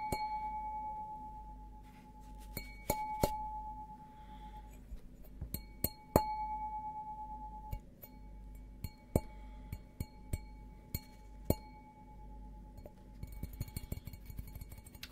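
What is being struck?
Glass object.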